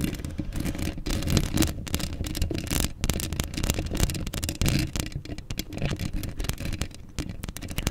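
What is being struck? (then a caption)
Steel mesh microphone grille. Long acrylic nails scratch quickly across a hollow steel mesh microphone grille, making a dense, rapid run of close, scratchy bursts. The sound is dominated by heavy low rumble with a thinner gritty rasp above it, swelling and dipping in loudness throughout.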